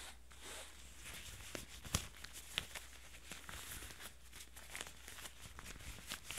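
Gloved fingertips in yellow rubber gloves rub and scratch the flat-lying light blue denim of an old pair of jeans, across a visible stitched seam. It makes a quiet, irregular, bright scratchy rustle with occasional sharper clicks, possibly glove squeaks, over a steady low hum.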